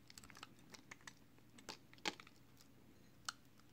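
A small, solid, hand-held piece of green marbled recycled soap is shaved along its edge with a utility knife blade, producing soap flakes. The clip is made of quiet, crisp, bright scraping clicks and short crunches at irregular intervals. The loudest scrape comes about midway, and a final sharp one falls near the end.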